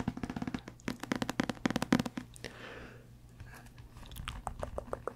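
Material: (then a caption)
Paper. A thick, solid paperback book with a paper cover and paper pages is held in both hands close to the microphone, its pages riffled and flipped with the fingertips. Quick, dry crunchy ticks and rustles come in a dense run over the first two seconds, then a softer papery hiss follows before lighter scattered taps and flicks return near the end.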